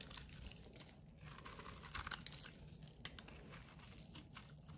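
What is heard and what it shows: A solid bar of white soap with a blue edge, held in the hand, is scraped with a metal utility blade into shavings. The result is a quiet, continuous run of bright, dry scraping and crinkly crunching, with a few slightly louder scrapes along the way.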